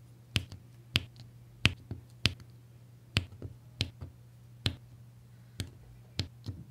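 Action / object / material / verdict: tap / resin drills pressed with a plastic applicator pen onto adhesive canvas / resin / none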